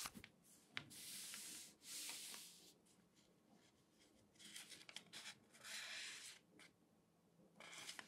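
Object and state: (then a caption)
Newsprint newspaper. Fingertips and flat hands rub and smooth across the spread pages of a large open newspaper of thin newsprint lying flat on a table, with some page handling. Soft, bright, hissy swishes come in long sweeps, broken by quick, sharp paper crackles. Quieter stretches of faint rustling fall between the sweeps.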